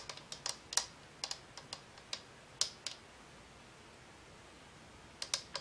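Long acrylic nails tap the hollow frosted-plastic cylindrical shade of a glowing green and blue Homecube color-changing lamp, which sits on a dark base and is held in one hand. The taps are light, crisp and bright clicks with almost no ring, falling in uneven clusters over the first three seconds. After a quiet pause, a few more taps close the clip.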